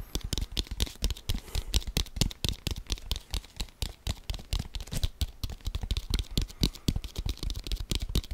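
A brown, hollow, inflated leather American football is held in both hands and tapped quickly with the fingertips. The result is a rapid, uneven stream of short, dull, low thumps, each with a brief bright click on top and almost no ring after.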